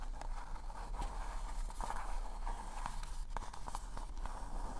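Fingertips and nails tap and scratch the surface of a hollow pink polka-dot paper cone party hat held close to the microphone. Soft, quick papery taps and light scratches sit over a steady low rumble, with faint bright crackles between them.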